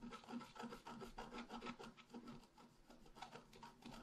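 A wooden stylus scratches a leaf shape into the lower right of a flat, black-coated scratch art paper sheet. Quiet, dry rasping strokes repeat in a quick, uneven rhythm, each a short scraping rub with a faint mid-pitched tone and a bright hiss.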